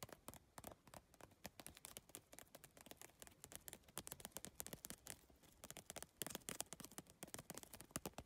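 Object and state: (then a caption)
Plastic-tiled bag tapped with fingernails. Long painted nails tap quickly on a medium holographic geometric PVC handbag, covered in rigid iridescent triangular plastic tiles on a soft, hollow, padded backing, lying on teal fabric. The result is a dense run of sharp, dry clicks with almost no ring, bright and clicky up top with little low end, getting slightly louder toward the end.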